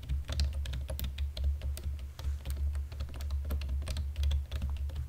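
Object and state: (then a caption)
Plastic computer keyboard being typed on. A black plastic computer keyboard is typed on with fingertips and short nails, both hands working in dim light. Rapid, continuous bright key clicks and taps run over a steady low hum throughout.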